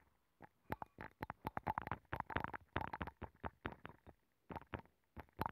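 A wooden stick scratches the rim and nacre inner surface of a hollow abalone shell mounted on a microphone. About twenty short, close scratching strokes come in quick irregular bursts, each with a dull, hollow low thump and a brief dry rasp that dies away almost at once.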